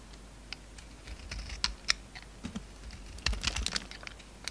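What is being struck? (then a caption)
Soap bar cut with a knife blade. A utility knife blade shaves a solid, hand-sized oval bar of soap with a dark red coating and a pink interior. It makes irregular, crisp scraping clicks with bright, high edges and a soft low thud beneath, each snap dying away almost instantly.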